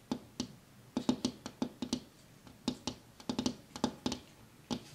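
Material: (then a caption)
Glass. A hand taps a large, flat, dark, reflective pane of window glass in a white frame with its fingertips and nails; the pane is solid, thin and fixed in place. About 19 short, quiet taps come in an irregular rhythm, some in quick clusters. Each has a bright clicky edge and a brief low tone near 250 Hz that dies away almost at once.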